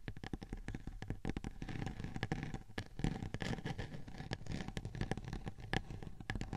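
Long painted fingernails of both hands scratch and tap a large, flat, round silver glitter-coated cardboard cake board, thin and rigid, resting on top of a 3Dio binaural microphone. Rapid dry taps and rough scratching are heard close-up, with a heavy low-end thump and very short decay.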